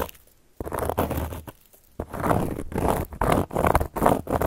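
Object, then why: Cork board scratched with metal nail tips. Long gold metal claw nail caps scratch across a solid, round, flat cork board. After a near-silent start, there are bursts of dry, crunchy, patter-like scraping, mostly in the midrange, separated by brief pauses and fading quickly.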